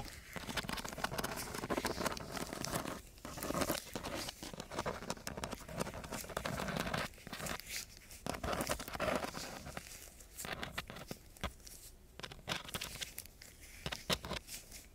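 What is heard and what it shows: The metal tip of a ballpoint pen scratches back and forth across a flat sheet of brown, gritty coarse sandpaper. The result is a dense, rasping, bright scratching with crackly grit texture, broken by a few brief pauses between strokes.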